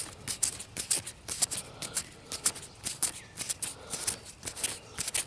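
A single broad, thin, fresh green leaf still on its plant is rubbed and crinkled between fingers and thumb. The result is irregular bursts of crisp, bright crackling and rustling, with short dry rubbing in between.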